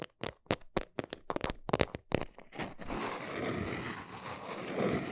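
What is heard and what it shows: Long nails tap a small brown cardboard box held in the hands, making about twelve quick, dry taps. They then scratch across its front face in a steady, bright, papery rasp that runs to the end.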